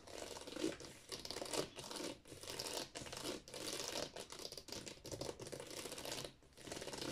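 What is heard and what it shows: Fingertips and long nails tap and scratch quickly across the spines of a row of hollow plastic Wii game cases standing in a drawer. The result is a dense, continuous run of bright, crackly clicks and scrapes with a light hollow knock underneath, easing briefly before picking up again near the end.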